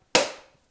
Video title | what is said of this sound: How to choose & open a coconut part 1 | I'm going to continue hitting it and then it sounds Hollow